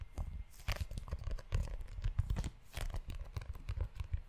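Fingertips tap and scratch the cover and ridged spine of a book-sized brown leather notebook held close to the microphone. The sound is a quick, irregular run of soft, low, thudding taps mixed with crinkly, crackling scratches that stop short with no ring.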